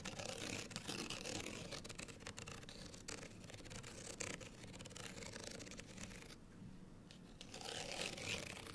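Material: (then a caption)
Paper card. A small folded, printed paper card hang tag is held upright while long fingernails from both hands scratch its outer faces. The result is a quiet, dense, fast, uneven papery rasp with a bright, hissy top end. Around six and a half seconds it briefly thins to a softer rubbing before the scratching picks up again.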